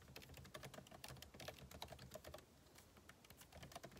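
Fingertips type rapidly on the plastic keycaps of a backlit MacBook Pro keyboard set in an aluminum body. The result is a dense stream of short, crisp clicks with quick decay and a soft low thump beneath, pausing briefly near the middle before resuming.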